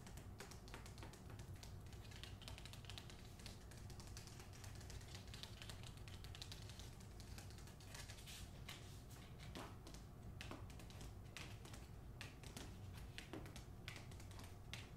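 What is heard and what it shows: Fingernails tap on a book in a steady, rapid flurry of light, dry clicks over a low, constant hum. The taps run together at an even, quiet level for the whole clip.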